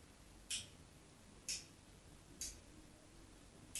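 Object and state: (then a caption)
Bar of soap scored with a knife blade. A solid white rectangular bar of soap held in the hand has its surface scored with a metal craft knife blade. Four short, bright scratches stand out at roughly one-second intervals over a quiet low hiss.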